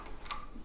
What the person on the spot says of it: stock is of a polymer type it sounds cheaper and less durable than what it actually is